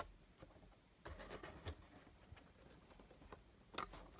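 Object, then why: Small printed cardboard box. Fingertips tap and rub the sides and top of a small, hollow, closed printed cardboard Funko Pop box holding a Super Saiyan Rose Goku Black figure. Quiet, dull taps stand out over soft, scratchy rubbing across the cardboard, with one sharper, brighter tap near the end.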